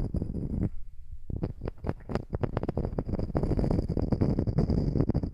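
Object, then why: Small round slice of solid wood. A small, flat, round solid wood slice coaster is held over the microphone and scratched and tapped with long nails. Low, muffled rubbing gives way to a brief near-silent pause, then a rapid run of dry, close taps and scratches with very short decay. The sound stays dense and bass-heavy to the end.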